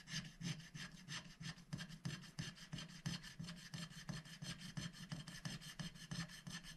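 A wooden stylus scratches the black coating off a scratch-art paper sticker sheet held down by one hand, revealing rainbow colour beneath. Repeated short scratching strokes, roughly three per second, make a dry, bright rasp over a steady low hum, with each stroke cutting off quickly.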